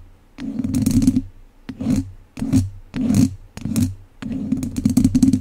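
Two wooden chopsticks scratch and tap a hollow, domed wire-mesh microphone grille in six short bursts. Each burst is a bright, rasping scratch over a hollow, boomy low resonance, broken by light clicking taps, with brief quiet gaps between them.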